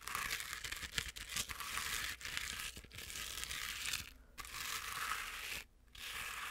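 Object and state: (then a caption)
Plush fabric penguin toy scratched. A medium stuffed penguin toy with fuzzy fabric is scratched and rubbed quickly with long nails. This makes a dense, bright, crinkly scratching hiss, with two short pauses near the end.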